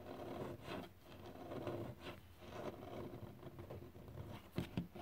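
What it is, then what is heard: Varnished wooden surface. Fingertips tap and scratch across a glossy, solid varnished wooden surface, producing a steady, low, muffled rustling patter with little brightness. Near the end, a couple of sharper, short taps stand out briefly before the scratching continues.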